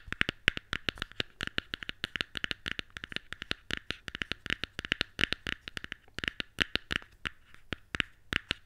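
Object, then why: Small cardboard box. Long nails and fingertips tap and scratch a small, white, hollow cardboard box from Apple earphones, held open. About 55 quick, sharp, clicky taps come in an uneven stream, bright and papery with almost no ring, with faint scratching between them.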